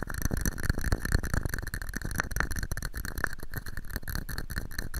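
A small, hollow, empty red and white plastic cup sits upside down over a microphone and is tapped and scratched with fingertips and nails. The result is a dense, continuous run of deep, boomy thumps and short scratchy rattles, with faint bright hiss above.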